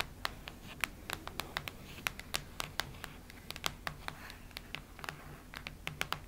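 Long red nails tap and scratch the cardboard cover of a cactus-print hardcover notebook lying flat. Quick, sharp, bright clicks land in an uneven rhythm over a soft scratchy rustle, each dying away almost instantly.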